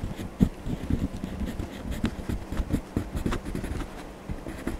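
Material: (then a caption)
Paper. A hand rubs a blue wax crayon across the Donald Duck page of an open paper coloring book resting on a desk. A continuous, soft scratching rub with quick stroke-by-stroke bursts, heavy in the low end and carrying a faint steady hum underneath.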